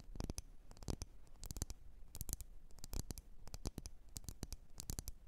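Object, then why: Wax-filled glass candle jar. Long nails tap and scratch the sides of a lit, wax-filled red glass candle jar. A rapid, irregular run of short, sharp clicks with bright high tops and a soft low thump dies away almost instantly. Faint scratchy rubs fill the gaps between the taps.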